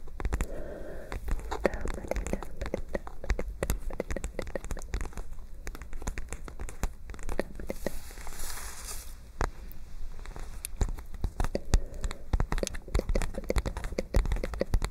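Long nails tap and scratch across the surface of a white lined-paper spiral notebook with bent-back pages, held close to the microphone. The result is a dense run of quick, dry taps mixed with papery crinkling and scratching, heavy in low thuds, with a brighter, hissier scratch partway through.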